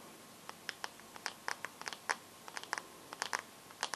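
Long nails tap and scratch the black glass screen of a bare teal Samsung phone with no case. About seventeen short, bright clicks come at an uneven pace, each stopping almost instantly, over a quiet, faintly hissing background.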